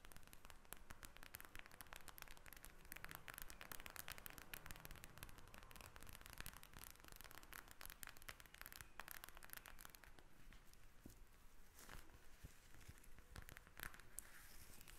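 Long red nails tap and scratch across the beads of a pink plastic gel bead eye mask. The result is a steady, quiet stream of rapid, crackly clicks and scratchy rustling with bright, sharp edges that continues throughout the clip.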